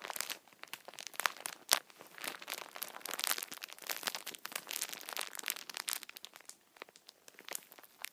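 Both hands squeeze and crinkle the clear plastic wrapper of a full, hand-sized multipack of Kinder chocolate bars with their fingertips. A dense run of sharp, bright crackles and crinkles, with no low end, continues for about eight seconds, louder in the middle and thinning toward the end.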